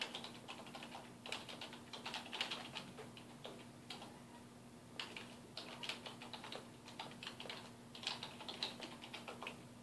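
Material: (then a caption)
Plastic. Fingertips type on a black plastic computer keyboard resting on a wooden desk, producing quiet, bright key taps in quick bursts with a few slower clicks between them. A faint steady low hum runs underneath throughout.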